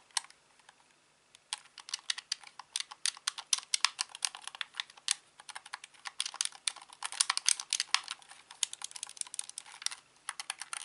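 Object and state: Plastic game controller buttons clicking.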